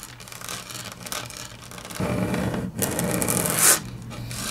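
Long natural fingernails tap and scratch across a large, flat, solid grey wood-grain laminate tabletop. Soft, faint scratching in the first two seconds gives way to louder, dense rasping with a low hum underneath. A brief pause follows, then a bright, sharp scrape peaks before the sound eases back to quieter rubbing.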